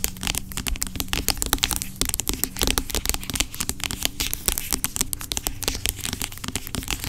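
Long acrylic nails tap and scratch the sides of a large dark plastic pump bottle of aloe vera gel lying on its side, hollow and seemingly filled with gel. A dense, continuous stream of quick, bright clicks and scratchy rasps is heard, each tap dying almost instantly with a dull low thud underneath.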